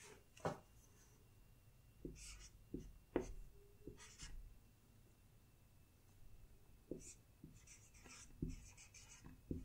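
A woman writes on a large, solid, flat wall-mounted whiteboard with a felt-tip marker held in her fingers, the tip rubbing and squeaking across the glossy coated surface. Quiet, short strokes come in irregular bursts, each a brief squeak with a bright, airy hiss over a low thump, separated by near-silent pauses.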